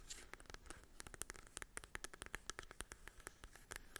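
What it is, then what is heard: Cardboard eyeshadow palette. Long acrylic nails tap and scratch across the printed cardboard surface of a small, flat, hollow cardboard mini eyeshadow palette held in the hand. The result is a quiet, rapid series of dry, sharp clicks with very short decay and bright, crisp edges, over light scratching texture.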